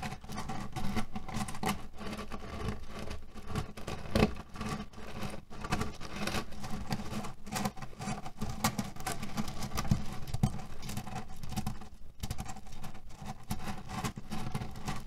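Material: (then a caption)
Cherry stones. Fingertips and nails scratch and knead a cherry pit pillow, a cotton fabric pillow filled with cherry stones. A steady, dense patter of shifting pits and soft fabric rustle continues throughout, heavy in the low range with small clicky bursts scattered throughout.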